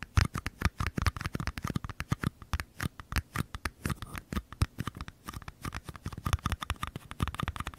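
Fingernails rapidly tap and scratch the curved paper side walls of two identical small paper cups held sideways beside the microphones. The result is a dense run of short, dry, papery taps with a hollow low thump, mixed with quick brighter scratching strokes.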